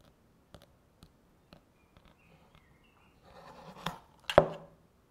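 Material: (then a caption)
Plastic. A single long natural fingernail taps and scratches the inner wall near the rim of a small, hollow, empty frosted translucent plastic manicure nail-soak bowl with a domed inner insert. Three light, evenly spaced, dry clicks are followed by fainter ticks, then a soft rustling scratch. The clip ends with two sharper, louder taps that die away almost at once.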